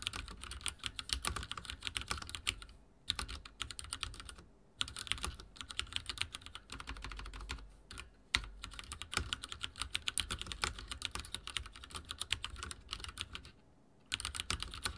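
Fingertips type very fast on a backlit mechanical keyboard with dark plastic keycaps and a silver frame. Dense, bright, crisp clicks run in quick bursts with a light low thump beneath, broken by a few short pauses. Each keystroke stops almost instantly with no ring.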